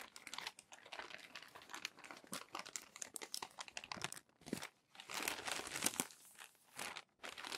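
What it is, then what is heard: Crumpled glossy paper magazine. Fingertips flip the wrinkled pages of a crumpled glossy paper magazine resting on a desk. Dense, bright crinkling and crackling rustles come in quick bursts, with brief pauses between page turns and almost no low end.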